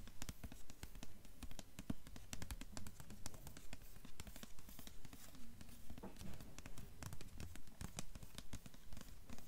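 Long fingernails tap rapidly and steadily on the cover and top edge of a blue hardcover novel with a paper dust jacket, held in one hand. The taps are quiet, dense and evenly paced, each a short muffled thud with a bright clicky edge that dies away almost at once.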